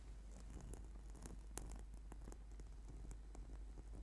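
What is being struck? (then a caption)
Foam yoga mat. Fingertips and short nails tap and scratch a flat, purple, sticky PVC/foam yoga mat lying on a table. Quiet, soft pattering taps and brief scratchy rustles with bright clicks sit over a steady low hum.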